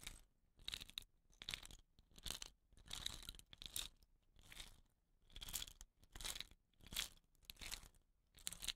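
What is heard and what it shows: Fingernails scratch the woven rattan-wrapped end of a hollow wooden rain stick lying on its side. Quiet, bright, crunchy scratching comes in repeated short bursts, roughly one per second, each with dry, crackly texture and almost no ring after it stops.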